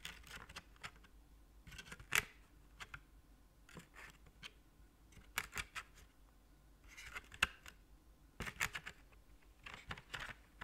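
A hollow, gold-coloured, heart-shaped plastic chocolate tray or lid is held in one hand while the other hand's fingernails tap and scratch its ridged surface. Clusters of crisp, bright clicks and dry scratches come in quick bursts with short pauses between them. Each sound is very brief and dies away almost instantly.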